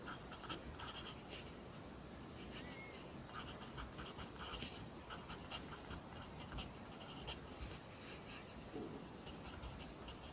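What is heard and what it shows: A pencil writes Korean handwriting on an open lined paper notebook, the graphite scratching across the paper. Quiet, continuous scratching is heard, with short bursts of bright, papery strokes over a low, steady background hum.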